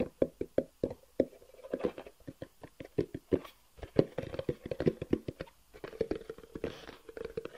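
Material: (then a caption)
Cardboard. Fingertips tap and scratch a long, hollow black cardboard box with white edges, held horizontally. Quick, dry knocks with a hollow midrange tone around 400 Hz stop almost instantly, and soft scratchy rustling fills the gaps. A brighter scratch comes near the end.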